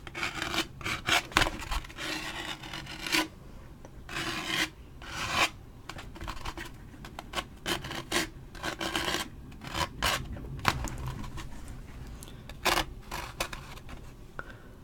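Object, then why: Waxed paper drink cup. A large waxed paper Parker's fountain-drink cup with a plastic lid and straw is held in hand and scratched with a fingernail on its printed side. The result is a series of dry, raspy, bright scratching strokes, some short and some drawn out, separated by brief quiet gaps.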